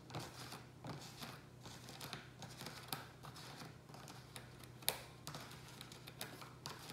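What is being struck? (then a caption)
Plastic takeout tray. Fingertips and nails tap and scratch quickly along the edges and sides of a hollow black plastic rectangular takeout tray holding a ceramic pot. Dry, crisp clicks with almost no ring mix with brittle, crinkly scratching, and a few sharper taps stand out. A steady low hum runs underneath at a quiet level.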